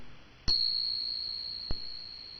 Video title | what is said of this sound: How to identify solid silver items and make some extra cash | the note lasts much longer and it's higher